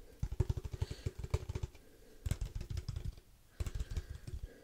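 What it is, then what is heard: Padel ball tube tapped. Fingertips quickly tap a hollow black cylindrical padel ball tube with a metal lid, held close to the mic. Three bursts of rapid, dull, low, hollow thuds are heard, each short and dry with very little ring, separated by brief quiet gaps.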